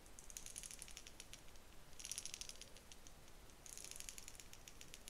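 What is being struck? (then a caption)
Plastic wide-tooth comb. Long nails scratch and flick across the teeth of a pale pink plastic wide-tooth comb held horizontally. Bursts of quick, dry, high clicks rattle in three clusters over a faint low rumble. The result is a bright ticking rattle with very short decay.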